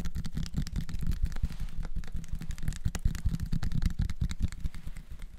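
A small, clear, labeled plastic syrup bottle filled with dark liquid and topped with a red plastic flip-top cap is held close to the recorder and tapped rapidly with fingertips and nails. The result is a dense, continuous stream of short, dull taps that are mostly low and thumpy, with a faint brighter click on top.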